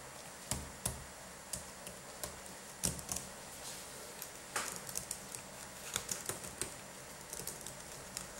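Both latex-gloved hands type and tap with their fingertips on the red-backlit plastic keys of a dirty black Dell laptop keyboard. Sharp, bright plastic clicks come in an uneven run, some single and some in quick clusters, each dying away almost at once over a steady low hiss.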